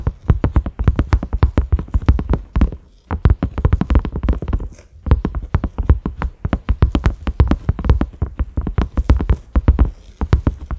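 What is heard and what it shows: Fingertips and short nails of both hands tap rapidly on a large round cream silicone lid with concentric ridges and a grey knob. The taps make soft, dull, low thuds with almost no ring, coming in quick irregular bursts with brief pauses near 3 and 5 seconds.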